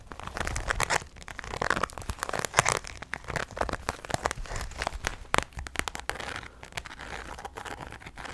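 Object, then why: Clear PVC vinyl handbag. A medium, hollow, clear translucent pink PVC Barbie rainbow handbag is crinkled, tapped and scratched with long nails. Dense, bright crackling and crinkling comes with many quick sharp taps that die away almost at once. The result is a continuous stream of dry plastic clicks and rustles.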